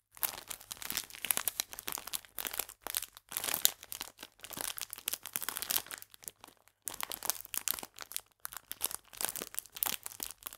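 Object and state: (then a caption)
Clear plastic biscuit bag crinkled. A full clear plastic biscuit pack is squeezed and crinkled with fingers and nails, then held upright. The result is dense, bright, crackly crinkling in quick bursts with brief pauses. There is almost no low end.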